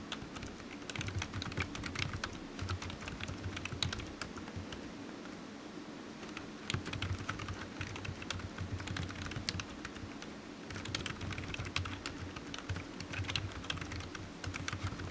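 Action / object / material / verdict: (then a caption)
tap / plastic computer keyboard / plastic / none. The fingertips of one hand tap the keys of a black plastic computer keyboard resting on a desk mat, in a steady typing rhythm. The result is a dense run of quick, bright plastic clicks that eases briefly around the middle before picking back up. A low, steady hum sits underneath throughout.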